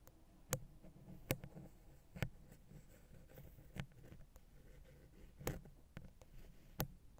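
A wooden ear pick, held at an angle, taps and scratches the right head of the silver metal X/Y microphone capsule on a Zoom H6. The small, hollow capsule gives sharp, dry clicks with a low, thumpy body and soft scratching between them. Seven distinct taps stand out over the quiet scraping.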